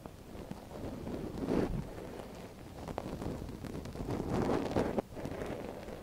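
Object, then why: Silicone ear of a binaural microphone scratched with a thin wooden stick. A thin wooden stick scratches inside the canal of a soft silicone ear on a binaural microphone, with a gloved hand steadying the ear. Close, dense scratching and rustling stays mostly low and midrange, with little high content. It swells louder around 1.5 seconds and again near 4.5 to 4.8 seconds, then drops abruptly for a moment just after 5 seconds.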